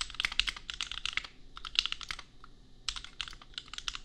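Both hands type with their fingertips on a compact 65% custom mechanical keyboard with Gateron Milky Yellow switches and red and pink plastic keycaps, resting on an anime desk mat. Quick bursts of bright, sharp plastic clacks with very short decay sit around 2.9 kHz with little low end. They pause briefly near the middle before the typing resumes.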